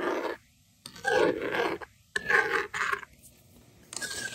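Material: Plastic.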